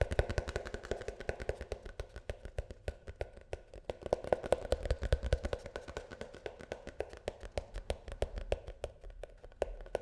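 A plastic shampoo tube is tapped rapidly and continuously with fingertips. Each tap is a short, dull, hollow knock with a low thump, a soft mid-range tone and almost no brightness. The taps die away almost instantly, in a quiet, close setting.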